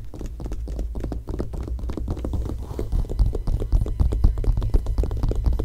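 Long nails scratch across the glossy coated paper pages of an open glossy magazine, lying on the same photo spread. A rapid, uneven run of short, dry scratching strokes rides over a deep low rumble. The scratching grows louder and sharper in the second half.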